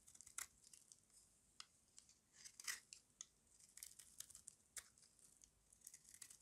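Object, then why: Bar of soap carved with a small blade. A small metal blade with a yellow handle carves the edge of a solid rectangular bar of dry white soap held in the hand. It makes a rapid, uneven series of quiet, bright, crisp scrapes and crunches with almost no low end. Each short cut dies away quickly.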